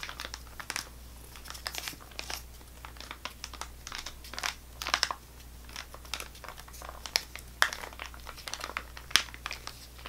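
Fingernails rub and scratch a full-looking GoGo Squeez apple sauce pouch made of laminated plastic foil with a plastic spout cap. The result is a steady run of bright, dry crinkles and scratchy rustles with short sharp crackles. A faint low hum sits underneath throughout.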